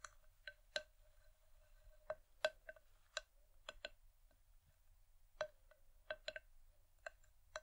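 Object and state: Wooden bowl tapped with nails.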